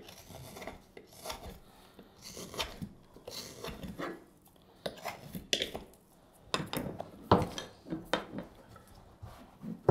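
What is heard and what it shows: A straight steel carving knife shaves a solid, light wooden spoon blank in a series of short cutting strokes. Each stroke is a dry, rasping scrape with a bright, broadband edge, separated by quiet pauses and fading quickly.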